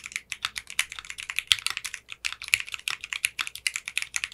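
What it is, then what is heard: Mechanical keyboard with polycarbonate keycaps. Fingertips with short manicured nails type quickly on a 60% mechanical keyboard with clear pink polycarbonate keycaps. About 34 short, bright, crisp keystroke clacks come in a steady, rapid stream, each dying away almost instantly. The sound is almost all high treble with no low thump.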